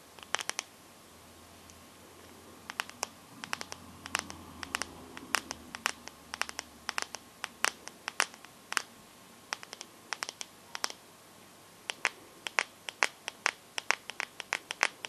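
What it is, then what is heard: Glass-backed phone tapped with fingernails. Long gold-painted fingernails tap and scratch the glossy glass back and metal frame of a small, solid, handheld teal Samsung Galaxy-style smartphone. Sharp, bright clicks that stop almost instantly come in irregular bursts over a quiet background, with a soft scratching texture between the taps in the first half.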